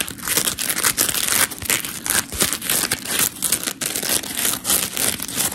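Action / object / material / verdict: scrape / polymer foam scrub sponge / polymer foam / none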